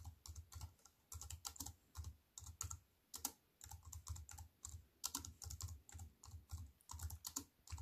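Fingertips with long white nails type fast on a compact plastic computer keyboard with black plastic keys on a silver aluminium frame. The result is a rapid stream of crisp, bright key clicks over soft low thuds, each tap dying away almost instantly, with brief pauses between bursts.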